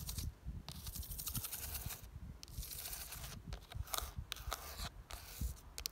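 Long dark nails tap and scratch the ribbed side of a hollow pink-red plastic window planter filled with soil and geraniums. Dry, bright scraping rasps alternate with soft, low, dull taps that die away almost at once.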